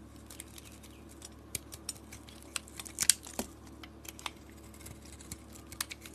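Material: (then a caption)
Soap. A utility blade scrapes thin curls off a solid white bar of soap with a red glitter and silver coating. A string of short, crisp, bright scraping clicks and ticks rises over a low, steady background hum, with the sharpest cuts landing near the middle.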